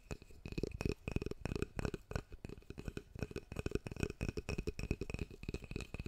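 A large oval hairbrush with a solid reddish wooden back and handle and dense dark bristles is held in the hands in front of the mic and tapped with the fingertips on its wooden back and handle. Quick, irregular runs of dull, low knocks follow one another, each dying away almost at once, over a faint steady ringing tone.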